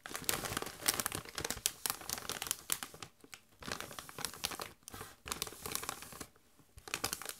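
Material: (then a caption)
Metallized plastic. Gloved hands rub and crinkle a Doritos chip bag of metallized plastic that is partly full of chips. Dense bursts of bright, crisp crackling come in quick flurries, with brief quiet pauses between them.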